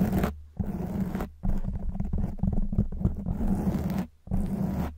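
Long white nails scratch a black foam windscreen on a silver microphone, making dense, rough scratching bursts with a deep, rumbling low end. The bursts come in four main stretches separated by short near-silent gaps.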